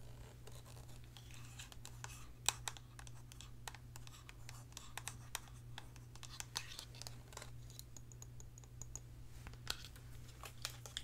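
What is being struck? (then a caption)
Hard plastic DSLR camera body. Long painted nails tap and scratch a black DSLR camera body with its lens attached, a hollow hard plastic shell held in one hand. The result is a quiet run of quick, sharp clicks and dry, bright scratching, with each tap dying away almost instantly over a steady low hum.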